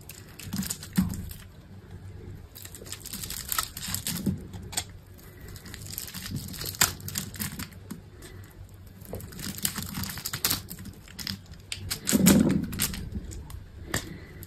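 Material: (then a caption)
Soap. A utility knife blade scores a grid into a solid green bar of soap held in a hand with long pink nails, then scrapes off small cubes. The result is a steady run of crisp, bright scraping and crackly clicks with soft crumbling underneath, and a louder, fuller crunch near the end.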